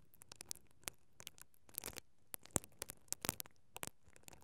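A single mascara brush with black plastic bristles, held by a hand with long painted nails, is rubbed and scratched steadily over the capsule of a stereo microphone with a hollow perforated metal grille. The result is a quiet run of about nineteen dry, crackling scratches and clicks. They are broadband and bright, each dying away almost instantly.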